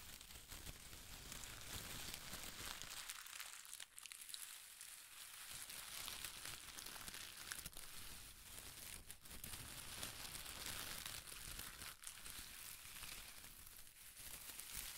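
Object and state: Shredded paper strips being crinkled.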